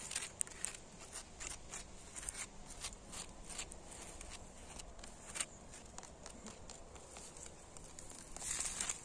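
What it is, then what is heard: Solid old brick wall. Fingertips and nails scratch along the cracked, crumbling mortar gaps of a weathered, solid red brick wall and tap the bricks. The result is quiet, dry, bright scratching with short clicky taps that die away instantly, and a louder rasping scrape near the end.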